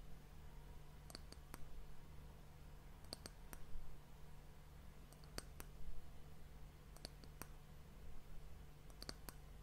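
Long nails tap the top of a solid, varnished brown wooden disc end cap on a glass hourglass. Short, dry, bright clicks arrive in small clusters of two or three every couple of seconds over a low, steady hum. Each click dies away almost at once.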